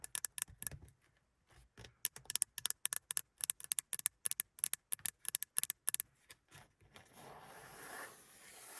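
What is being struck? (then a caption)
Padded vinyl car sun visor. Long pink acrylic nails and fingertips tap and scratch the padded black vinyl sun visor, about 40 cm wide with a small vanity mirror, in a classic Mercedes 200; the visor starts flipped up and is then lowered. Quick, bright, dry clicking taps come in irregular bursts with very little ring. The last couple of seconds turn into a steady, hissy scratching across the vinyl.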